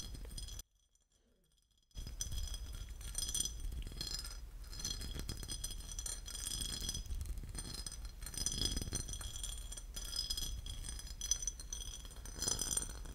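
A porcelain lid is tapped and scratched, giving light ceramic clinks and bright, high scratching over a low background hum. After a brief drop to near silence early on, the tapping and scratching continue steadily.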